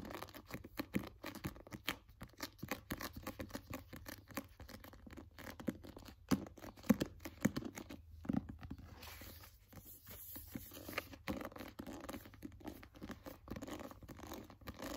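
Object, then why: Glossy paperback book cover. A glossy paperback cover on a solid book is tapped and scratched with fingernails. The result is a quiet, dense run of short dry clicks and scratchy rasps with almost no ring, and a few louder taps stand out around the middle. There is a steady low hum underneath.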